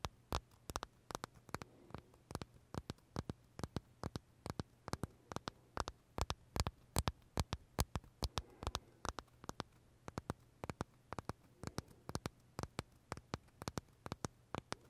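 Short fingernails tap and scratch the crisp shell of a large purple blueberry macaron held close to the mouth. The result is dozens of sharp, dry clicks in an uneven, rapid rhythm over a faint low hum.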